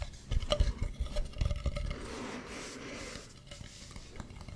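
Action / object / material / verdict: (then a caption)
tap / carved wooden mask / wood / none. Fingertips tap and scratch a hollow carved wooden mask, working over its smooth dark back and its carved front. A quick, uneven run of dull, low, hollow taps with faint clicks gives way to a softer, steady scratching, then a few light taps return at the end.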